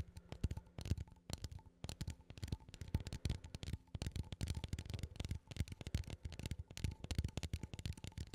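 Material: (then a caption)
Metal. A small cylindrical metal coffee tin is held in both hands while fingertips and nails tap and scratch its lid. The result is a rapid, dense run of soft, low, hollow taps mixed with light scratching. The taps decay almost instantly, with a faint ring near 1 kHz.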